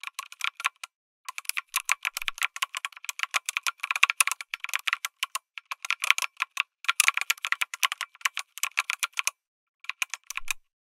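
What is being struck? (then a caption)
Mechanical keyboard with aluminium case and plastic keycaps. Fingertips type quickly on a lit mechanical keyboard with an aluminum case and plastic keycaps, producing dense, bright, sharp clicks and clacks. The typing runs in bursts broken by short pauses, each keystroke dying almost instantly with no low thump.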